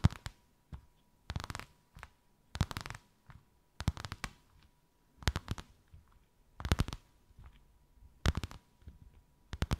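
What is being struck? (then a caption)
Embossed faux leather sheet. Slow tapping and scratching with long white acrylic nails on a thin white faux-leather sheet with a snakeskin emboss, draped over something rounded. Dry, short, low-heavy taps come in clustered bursts with scratchy pauses between them, and a faint steady tone hums underneath.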